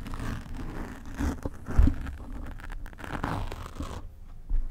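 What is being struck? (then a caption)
Foam microphone windscreen. Long nails scratch across a black foam microphone windscreen, with some hand movements away from the mic, making a dense, muffled, bassy rustling and crunching scrape. Louder bumps come near the 1.8-second mark and at the very end, after a brief quieter gap around 4 seconds.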